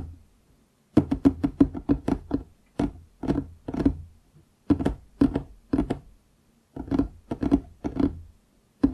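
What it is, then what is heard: Solid wooden tabletop. Fingertips of both hands tap quickly on a large solid wooden desk top, producing rapid bursts of short, dry knocks separated by brief pauses. Each tap is a dull, woody thunk centered around 280 Hz that dies away almost instantly.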